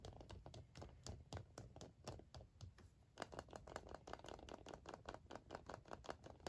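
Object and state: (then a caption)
Milk chocolate egg. Fingertips and short nails tap and scratch the surface of an unwrapped, hollow, hand-sized milk chocolate Kinder egg held in both hands, its seam visible. Around thirty quick, dry, clicky taps follow one another with almost no ring, over a soft scratchy rustle. The tapping grows louder and denser after about three seconds.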